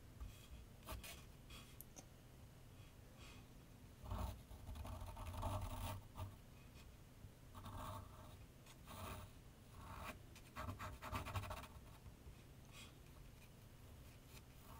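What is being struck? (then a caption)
Graphite pencil on a paper sheet on a drawing board. A graphite pencil scratches short strokes near the lower edge of a large, flat sheet of white paper resting on a board on an easel. Soft, irregular bursts of rasping scratches come and go over a low, dull rumble, with the louder passages clustered in the middle of the clip.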